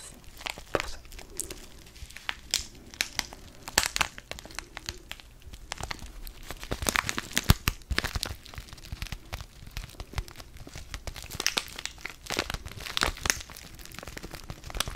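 A small, flat DavidsTea sachet of foil-laminated paper, filled with tea, is held up in the fingers and crinkled and squeezed. Dense, dry crinkling and crackling fills the clip with sharp bright snaps over a soft rustle, each crackle dying away almost at once.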